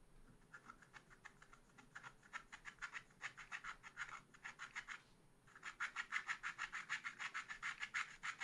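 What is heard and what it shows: A wooden stylus held flat scrapes lines across a black coated scratch art paper page in a small spiral pad. It makes a quick, steady series of short, dry scratching strokes with a bright rasp centered around 2 kHz. After a brief pause midway, the strokes resume slightly louder.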